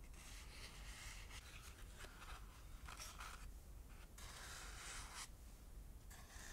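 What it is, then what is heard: Dried lotus seed pod. A small, light, dried lotus seed pod, brown and fibrous with hollow cells, is held in the hand and rubbed and scratched with long manicured nails across its holed top and sides. Quiet, dry scraping and rubbing comes in bursts of bright, airy noise over a steady low hum.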